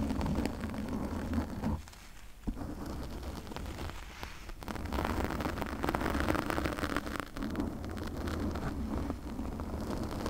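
Long painted nails scratch and rub with both hands over a soft, porous pink foam windscreen fitted around the hollow head of a large USB condenser microphone. The result is a dense, continuous rumbling crackle weighted heavily toward the low end, with brief quieter dips around the two- and four-and-a-half-second marks before the rubbing swells again.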